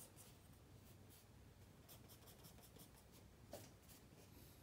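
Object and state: Pencil sketching on paper.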